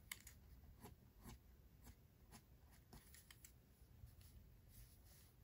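A mechanical pencil tip makes continuous small drawing strokes on the white paper page of a spiral sketchbook resting on a desk. The result is quiet, dry, scratchy strokes with bright, brief bursts and almost no ring, over a low background hum.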